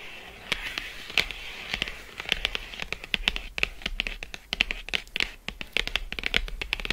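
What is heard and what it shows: Long acrylic nails scratch and tap quickly on the front of a closed, thin, flat Lindt Excellence 85% cardboard box lying on faux fur. Sharp, dry clicks with almost no ring land in a rapid, uneven stream over a continuous bright, papery scratching. The sound is crisp and high-pitched, centered around 2.7 kHz, with very little low end.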